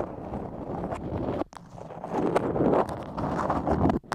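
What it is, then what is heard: Beeswax-coated cotton food wrap. Long acrylic nails scratch and tap a floral beeswax-coated cotton food wrap moulded over the microphone. The result is a dense, muffled crinkling and rubbing texture centred in the low mids, with bright tapping clicks on top. The sound cuts out briefly near the middle, then returns louder and busier before stopping abruptly at the end.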